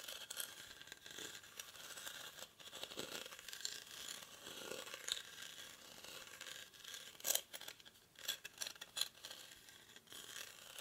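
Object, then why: Woven rattan basket. Short fingernails scratch the weave of a hollow, cylindrical woven rattan/reed basket held in both hands. The result is a quiet, bright, dry scratching and crackling with almost no low end, broken by a few sharper, louder rasps near the end.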